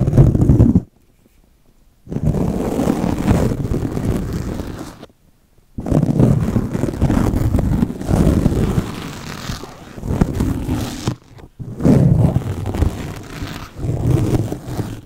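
Two steel double-edge razor blades held in the fingers scratch and cut a torn black foam microphone windscreen in close-up. The result is a dense, muffled, low rumbling scratch that comes in long bursts separated by brief silences.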